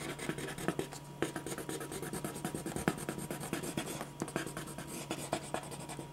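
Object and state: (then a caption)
Paper sheet being drawn on with a pen. A clear plastic ballpoint pen scratches rapid hatching strokes across a single thin white sheet of drawing paper lying flat on a dark board. The result is a steady stream of quick, dry scratchy strokes with short bright ticks, over a low constant hum.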